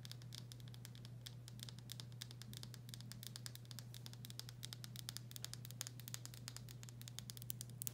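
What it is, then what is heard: Glass pickle jar tapped with fingernails. Long fingernails tap rapidly on a full glass pickle jar, across both its back label and the bare glass. Quick, bright clicks and light patter ring briefly over a steady low hum.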